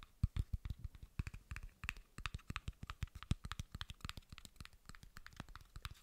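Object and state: Plastic bottle cap, tapped.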